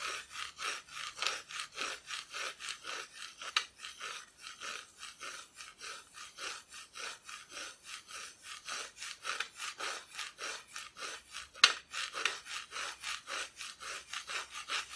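Long nails scratch slowly across the bare, unfinished wooden back of a flat, solid Christmas decoration cutout. The result is a steady run of bright, rasping strokes with a couple of sharp clicks partway through.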